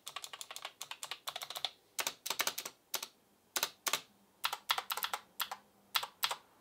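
A single fingertip taps individual keys one at a time on an Asus ROG Claymore II gaming keyboard with plastic keycaps and clicky RX Blue mechanical switches. About 36 short, sharp, bright clicks come in quick bursts separated by brief pauses, each dying away almost instantly with no low rumble.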